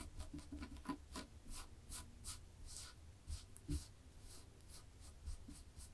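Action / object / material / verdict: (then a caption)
scrape / textured knit fabric scratched with fingernails / knit fabric / none. Long polished fingernails scratch across a black and white textured knit fabric laid flat. The result is a quiet series of soft, dry rasping strokes with bright, hissy bursts over a low, muffled rumble.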